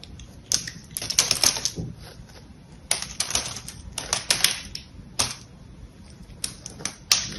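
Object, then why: Coated bar of soap cut with a knife blade. A utility-knife blade carves and scrapes thin curls from a palm-sized solid bar of soap with a gold patterned coating, held in one hand. The result is clusters of crisp, bright scraping and cutting clicks with short pauses between strokes, each sound stopping quickly with almost no low end.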